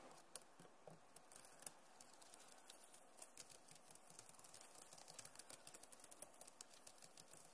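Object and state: Plastic laptop keyboard.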